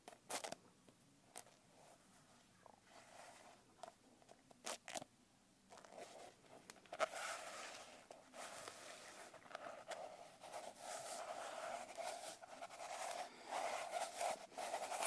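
Long nails tap and scratch the cover and page edges of a blue glitter-covered notebook. Sharp, separate clicky taps come in the first few seconds, then give way to denser, continuous scratchy rustling with a papery crackle. The sound stays quiet throughout.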